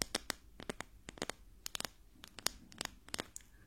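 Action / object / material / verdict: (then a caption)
tap / wooden ruler / wood / none. A wooden ruler, one of a pair with a metal ruler, is tapped in a rapid, uneven series of about eighteen short, dry, clicky taps with almost no ring. It is used as a test of telling sounds apart, and the ruler is correctly identified as wood.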